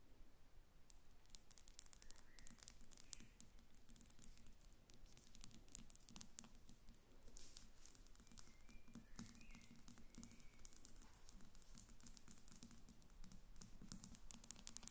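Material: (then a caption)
Glass. A glass perfume bottle standing on papers on a glass table is tapped with the long red nails of both hands. The result is a quiet, continuous stream of fast, light clicks and patters with a faint low hum underneath.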